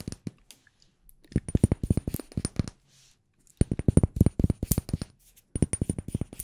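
A glass room spray bottle is tapped with the fingers in three bursts of quick, hard, clinking taps separated by short pauses. The taps on the bare glass sound different from those on the labelled part of the bottle.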